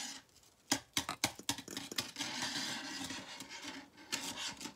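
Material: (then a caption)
Plastic. A hand-sized, hollow, multicolored plastic rainbow slinky is held in the hand and flexed and shaken, so its plastic coils rub and clack against each other. Several sharp, bright clacks come first, then a steady bright rasping rustle of the coils, and a few more clacks at the end.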